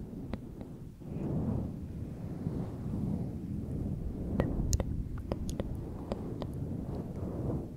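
Fingertips and medium-length manicured nails rub, stroke and scratch the long fibres of a grey fluffy synthetic-fur windscreen covering a TASCAM microphone. The result is a soft, muffled, low rumbling rustle in slow swelling waves, broken by scattered sharp, brief bright clicks from the nails catching the fur.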